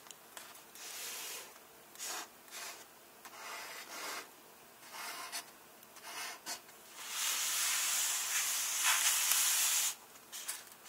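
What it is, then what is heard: Paper book pages being rubbed. Fingertips and nails rub and scratch the paper of an open hardcover book resting on a single page, producing bright, airy brushing sounds in short bursts. A longer, louder stretch of steady scratching follows near the end, then a few quick strokes.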